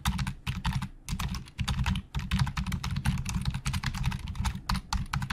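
Fingertips of both hands type very fast on the hollow plastic keys of a black plastic Logitech full-size keyboard resting on a desk. Dense bursts of quick, dry clicks and clatter come with a heavy low thudding body and short bright tops. Each keystroke dies almost instantly, with brief pauses between flurries.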